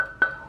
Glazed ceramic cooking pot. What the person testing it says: Gốm sứ cao cấp thì khi các bạn gõ vào nghe cái tiếng trong, chứ không phải nghe cái tiếng đục